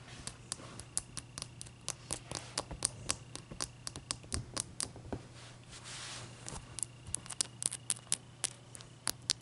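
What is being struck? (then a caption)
Ice block. Long dark fingernail tips tap the top of a large, clear, solid ice block resting on a towel, then both hands scratch across it. About 36 sharp, bright clicks arrive in an uneven patter, with a softer hissing scrape in the middle. A faint low hum runs steadily underneath.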